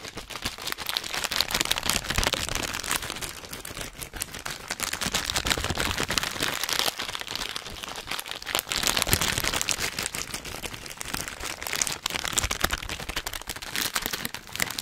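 A full orange plastic/foil snack bag is squeezed and crinkled in both hands close to the microphone. A dense, continuous run of bright crackling and crinkling fills the clip, with only a little low rumble beneath it.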